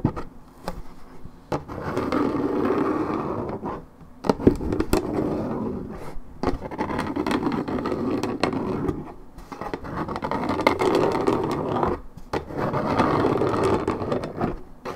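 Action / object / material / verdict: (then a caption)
scrape / coated paperboard juice carton / paperboard / none. Long red nails scratch the top of a hollow, coated-paperboard Minute Maid orange juice carton. Dense, rasping scrapes come in sustained passages of a few seconds each, separated by short pauses. The tone is mostly low-mid and papery, with little bright content.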